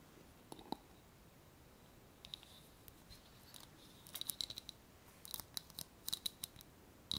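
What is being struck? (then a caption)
Small glass jar tapped with fingernails. A small clear glass jar with a wire clasp lid, filled with paper pieces and held in one hand, is tapped with long painted nails. Sharp, bright clicks with a faint high glassy ping come sparsely at first, then in quicker clusters over a soft steady hiss. Each tap dies away almost instantly.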